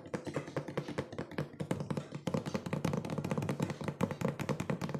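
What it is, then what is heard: Cardboard box, hollow. A hollow, medium-sized printed cardboard cookie box with its top flap open is tapped fast with fingertips and nails. The result is a rapid, continuous run of short, dry, hollow taps centered low around 200 Hz, with bright clicky edges from the nails and almost no ring.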